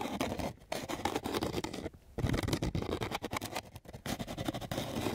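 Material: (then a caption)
Sandpaper. A flat sheet of coarse sandpaper is scratched with quick strokes of a flat wooden stick. The result is a continuous, gritty rasping with a rough, broadband texture, briefly paused by short silent gaps.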